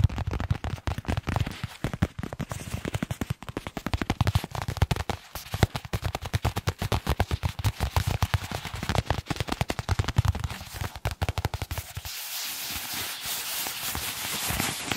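A small white paper envelope is crinkled, rubbed and flexed with the fingertips close to a microphone. For about twelve seconds there is a dense stream of sharp, rapid crackles with a low thump under them. It then gives way to a steadier, bright papery rustle.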